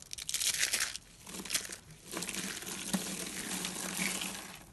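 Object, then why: Rolled soap shavings. Small rolled coils of thin, dry white soap shavings, hollow in the center, are squeezed and crushed in both fists by fingertips with short nails. They give off bright, dry crinkling and crunching in dense bursts, with a few sharper cracks. The coils break down into loose white flakes.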